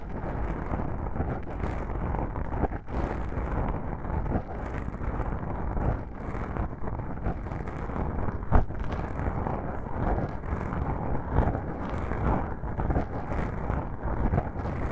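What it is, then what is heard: Foam microphone windscreen being scratched. Long pink nails scratch the sides of black foam microphone windscreens, producing a continuous muffled, rumbling scratch heavy in low frequencies with no high end. Brief louder scrapes and thumps rise out of the steady rustle.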